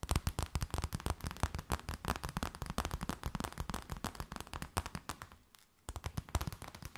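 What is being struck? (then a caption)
Thin plastic bag. An empty transparent plastic bag is tapped and crinkled with long nails, producing a dense, rapid stream of sharp, crackling clicks over a heavy low thump. The tapping pauses briefly near the end, then resumes just as fast.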